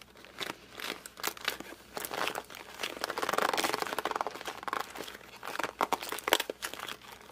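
A closed cardboard puzzle box is held in both hands, gripped and squeezed with the fingers and pressed along its top edge. This produces a rapid run of dry crinkling, creaking and squeaky pressing sounds with a bright edge, swelling into a denser stretch in the middle. Short sharp snaps follow near the end, each dying away instantly.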